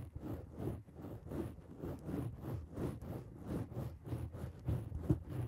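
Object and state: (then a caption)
Foam microphone windscreen. Long acrylic nails on both hands scratch across a black foam microphone windscreen. The result is a steady run of soft, muffled, rhythmic scratching and rustling strokes, heavy in the low end with almost no brightness.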